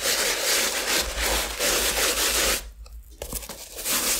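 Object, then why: Leather sneaker with rubber sole. A wooden-handled bristle brush, likely with cleaning solution, scrubs and rubs the leather upper and toe of a hollow, unworn white leather Asics sneaker with a rubber platform sole, held on a towel. Bright, hissing scrubbing strokes run steadily and then stop briefly. Quieter, uneven brushing follows before the full scrubbing returns.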